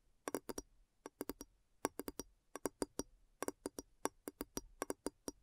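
Long nails tap around the upturned base of a large, clear, hollow, empty glass bowl turned upside down. About 26 quick, dry clicks come in quick runs of four or five, with a low knock near 290 Hz and a bright edge. Each tap dies almost at once and leaves no ringing.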